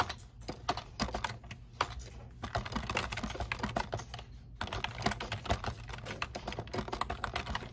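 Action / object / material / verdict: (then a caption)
tap / plastic computer keyboard / plastic / none. Fingertips type continuously on the keys of a black plastic computer keyboard resting on a desk. Rapid, short, dry clicks run in bursts with brief lulls, over a steady low hum.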